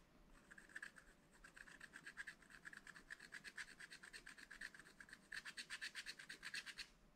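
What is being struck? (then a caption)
Coated scratch-art paper scratched with a wooden stylus. A wooden stylus scratches small strokes into a black-coated sheet of scratch-art paper from a pad. It makes a quiet, rapid series of dry, rasping scrapes centered near 1.8 kHz with bright hiss above, and the strokes grow louder and more distinct toward the end.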